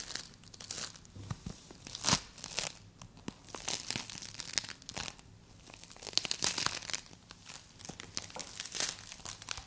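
A solid green play foam ball made of small polystyrene beads is squeezed and scratched with long acrylic nails and fingertips. The result is a steady run of crunchy, bright crumpling and crackling bursts, with the loudest crunches standing out here and there and almost no low end.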